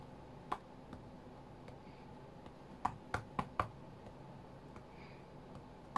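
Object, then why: Glass tablet touchscreen. Fingertips and short nails tap the glass touchscreen of an iPad tablet lying flat on a cutting mat. Six sharp, dry clicks with a mid-range tone stand out, mostly bunched around the middle, among fainter taps over a low steady hiss. Each tap dies away almost instantly.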